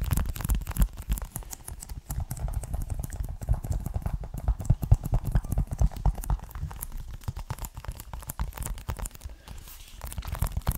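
A closed, hollow, hand-sized green plastic Xbox One game case for Forza 6, in a clear plastic sleeve, is scratched and tapped with the fingertips and nails right up close. It produces a dense, continuous stream of quick, dull clicks and scratchy crinkles with a hollow, low-heavy body and very little ring.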